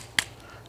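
A single tap on the riveted front of a leather gorget, with overlapping steel plates sandwiched between the outer and inner leather, gives one short, bright metallic click that dies away almost at once. No ringing follows.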